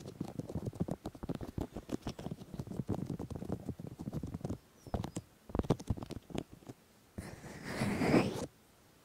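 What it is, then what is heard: Silicone microphone ears being rubbed. Fingers of both hands grip and rub both silicone ears of a 3Dio binaural microphone, making a dense run of soft, muffled thumps and squeaky rubbing bursts, mostly low and mid, with brief gaps. Near the end a louder, brighter scratchy rustle swells for about a second before it cuts off.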